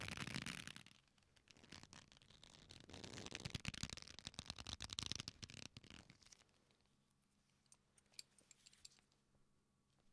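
A black leather belt with a flat, solid strap is folded, then pulled straight between both hands. The clip is full of dense, bright rubbing, creaking and stretching sounds for about six seconds, then falls quiet with a low steady hum and a few faint clicks.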